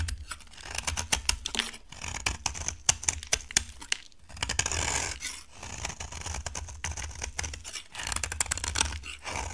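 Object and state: Dry bar soap being carved.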